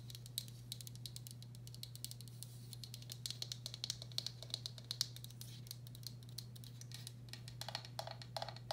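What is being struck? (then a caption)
Glazed ceramic bowl. A medium, hollow, empty turquoise speckled glazed ceramic bowl has its outer wall tapped with long black acrylic nails. The quick, soft, bright clicks come in a fast, irregular stream. They ring very briefly over a steady low hum.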